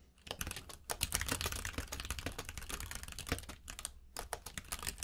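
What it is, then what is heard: Mechanical keyboard with plastic keycaps. Fingertips of both hands type steadily on a compact mechanical keyboard with plastic keycaps, producing a rapid, dense stream of sharp, bright clacks over a low, thocky body. The keystrokes run almost continuously, with brief pauses near the 1-, 3.6- and 4-second marks before the typing resumes.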